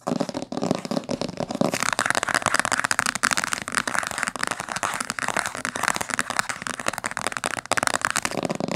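Long fingernails tap rapidly on the top cover and spine of a thick, dark blue cloth-bound hardcover book. The result is a fast, continuous stream of dry, crisp clicks and light scratchy rustling, with each tap dying away almost instantly.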